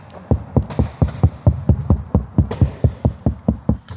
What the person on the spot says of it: really nice and solid and dense, and that's because of the 3mm layer that we've got behind this area